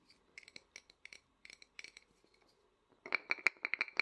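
Fingertips and nails tap and scratch the front of a small, hollow, painted and lacquered wooden matryoshka nesting doll held upright. Light, dry clicks and short scratches come in an uneven patter, with a bright, hollow ring near 2.3 kHz. They grow louder and faster in a dense burst over the last second.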